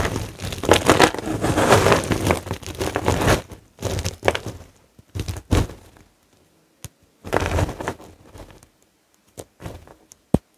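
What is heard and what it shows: Both hands press, crush and rub with the fingertips a pile of white, dry bar-soap flakes and chunks, solid brittle pieces resting on a grey cloth. A dense, continuous crunching and crinkling fills the first few seconds, then gives way to shorter crumbling bursts separated by quiet gaps. The clip ends with a single sharp, bright crack.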